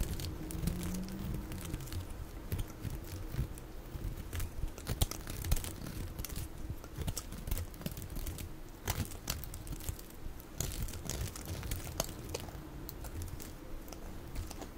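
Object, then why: Soap bar. A steel utility-knife blade shaves thick, curling slices off a solid, dry yellow bar of soap held in the hand, and the pieces fall onto a pile of shavings. The sound is a steady, dense crackling and crunching scrape, weighted low, with frequent sharp, bright clicks as the blade bites and the shavings drop.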